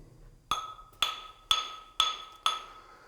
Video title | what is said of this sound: C-SPAN Cities Tour - Coeur d'Alene: Precious Metals and Early Gold Mining | that nice, solid, sharp sound as they're coming in, tapping on rocks all around them